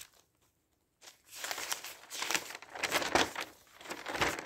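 Fingertips grab and turn the pages of an open newspaper made of thin newsprint. After about a second of near silence, the pages flutter and crinkle in a steady stream of dry, bright rustling bursts with almost no low end.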